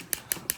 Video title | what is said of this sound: G-Shock MUDMAN in Rescue Yellow -- Chaotic Unboxing! | so you can see them tapping the screen and this screen is mineral glass